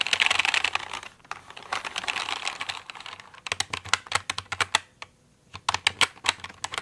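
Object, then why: Plastic mechanical computer keyboard. Fingertips and nails tap and type on the keycaps of a full-size pink plastic mechanical computer keyboard. Fast, dense bursts of bright, crisp clicks give way to separate, sharper taps, then a brief pause before a final run of clicks. Each click is dry and short, with almost no low end.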